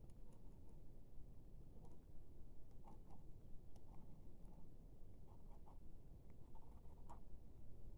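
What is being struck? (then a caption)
Plastic laptop keyboard keys. The black plastic keys of a laptop keyboard are tapped and poked with the thin handle end of a silver pen-like tool. Faint, short clicks and ticks with a brief bright edge come at an uneven pace, each dying away almost at once. They sit over a steady, deep low rumble that fills most of the quiet clip.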